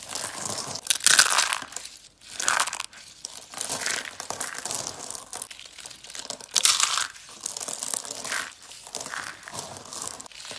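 Yellow and brown dry soap curls are squeezed and crumbled in cupped hands. Dense, bright, crisp crunching and crinkling comes in repeated swelling bursts with short quieter gaps, with almost no low end.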